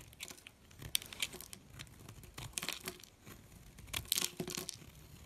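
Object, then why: Molded bar of soap cut with a metal blade. A metal blade slices and scrapes pieces off a solid red soap molded into a figure and held in the hand. The result is a run of dry, crackly, bright scraping cuts with short crunchy bursts and no ring after each stroke.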